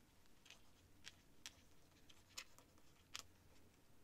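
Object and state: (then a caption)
Quill pen scratching on paper. A feather quill nib scratches across a sheet of thin cream writing paper lying on a stack of papers on a desk while writing by hand. Short, bright, scratchy strokes come at an irregular pace over a steady low rumble, each one dying away almost instantly.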